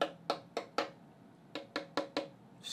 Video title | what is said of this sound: Human Size Prints with the Mingda Rock 3 Pro Printer | the infill is probably no more than five percent so this is very hollow